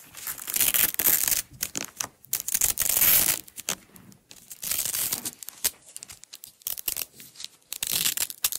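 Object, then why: Nylon hook-and-loop tape strip. Long nails peel and pull apart the strip of a blue nylon hook-and-loop (velcro) tape roll. Bright, crackly ripping bursts come in uneven stretches, some long and some short, with quiet gaps between them. The sound is almost entirely high and hissy, with very little low end.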